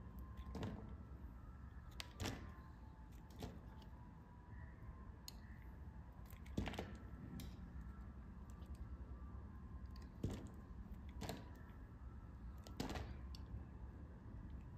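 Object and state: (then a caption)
Lilac bar soap being shaved. A palm-sized, solid lilac bar of soap, faceted from carving, is shaved with a metal blade in scraping cuts. Short, crisp scraping strokes with bright edges recur over a low, steady background hum.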